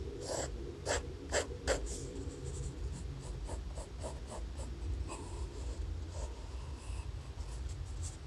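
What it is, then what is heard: Pencil sketching on notebook paper. A graphite pencil held in the fingers sketches a head on thin lined notebook paper resting on a laptop. Quiet scratching strokes come through as short, bright bursts, with a few louder strokes early on. A steady low rumble sits underneath throughout.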